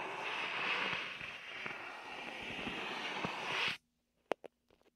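A hand and fingers rub the sticky surface of a large red and white hollow inflated vinyl beach ball held beside the mic, making a steady bright squeaky friction noise with small ticks for almost four seconds. The rubbing cuts off abruptly, followed by two sharp slaps on the vinyl and a few faint taps.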